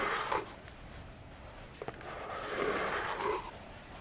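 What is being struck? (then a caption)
Small cardboard box. Long fingernails tap and scratch the sides of a small, hollow orange cardboard box with a silver logo standing on a table. A few sharp, hollow taps stand out over quiet rubbing, then longer, brighter scratching swells follow, with a papery mid tone around 880 Hz.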